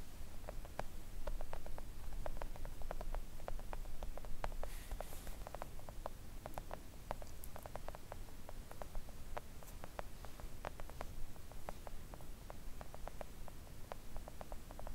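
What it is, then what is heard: Silicone nail art mat tapped with long nails. Long coffin-shaped press-on nails tap quickly on a thin, solid, flat pink silicone nail art mat lying on a table. The sound is a rapid, irregular patter of soft, short clicks over a low background hum.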